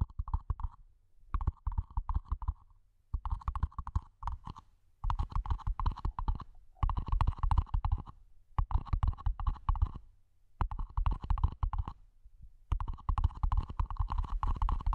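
A small, hollow, empty matte black plastic mini planter pot sits over the mic and is tapped on its top edge and sides with long nails and fingertips. The taps come in rapid clustered bursts separated by short pauses, each hit producing a deep, booming low thud layered with a faint hollow midrange clack.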